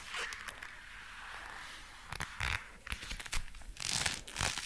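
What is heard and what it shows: Dark brown leather gloves worn on both hands are clenched into fists and the fingers flexed, making the leather creak. Soft rustling gives way to bright, crinkly bursts of creaking and squeaking in quick, uneven clusters that grow louder toward the end.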